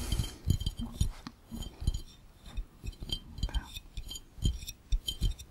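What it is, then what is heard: Glass fishbowl. Fingertips tap quickly on the round glass bottom of an empty, hollow glass fishbowl, with hands pressing and tapping near the lens. The taps come as a rapid, uneven series of soft, low thuds topped by bright, glassy clinks that die away almost instantly.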